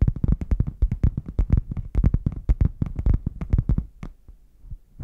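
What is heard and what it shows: Fingernails tap and scratch the front panel of a red, padded faux leather zip case that is closed, hollow and held upright. A rapid run of short, dull, low thuds plays with no ring. They thin out into quieter scratches near the end.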